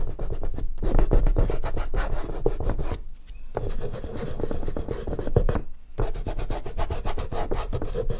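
Fingertips firmly rub and blend oil pastel in the same spot on a large, flat artist's paper sheet resting on a board. The result is a steady, dense, scratchy rubbing of rapid strokes, weighted toward the low end, with brief pauses near the three- and six-second marks.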